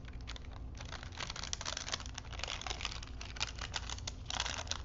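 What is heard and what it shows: A thin printed paper strip wound on small wooden spools is flexed and rolled between fingers, crinkling the paper. Dense, bright crackles and rustles run throughout, with a faint steady low hum underneath.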